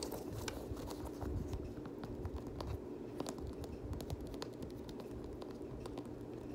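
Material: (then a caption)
Rubber. Fingertips and short nails scratch and tap the rubbery TPU cage overlays and laces of an empty, hand-held black Nike Air VaporMax Plus sneaker with a synthetic mesh upper. The result is a steady stream of soft, dry clicks and scratchy rustles over a low, muffled rumble, with no ringing after each touch.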